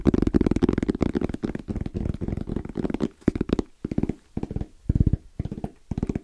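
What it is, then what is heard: EVA hard-shell zipper case. Fingertips tap and lightly knock in a fast rhythm on a small, closed, hollow black zippered hard case with orange trim and a fabric-covered EVA shell. The taps are dull, hollow thuds with little ring, weighted toward the low end. They come in dense flurries, then thin into shorter separated bursts in the second half.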